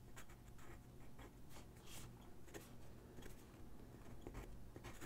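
A graphite pencil sketches and shades on a single white sheet of drawing paper resting on a wooden desk. Soft, scratchy strokes and rubbing come in quick, uneven bursts with bright hiss, over a low, steady background rumble. The sound stays quiet and continuous throughout.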